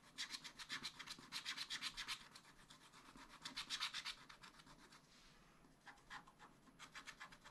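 A pointed wooden stylus scratches a black wax-coated scratch-art sheet in a spiral-bound pad. Quick, rhythmic back-and-forth strokes come in bursts of bright, high, dry rasping with almost no low end. There is a softer, quieter stretch near the five-second mark before the strokes resume.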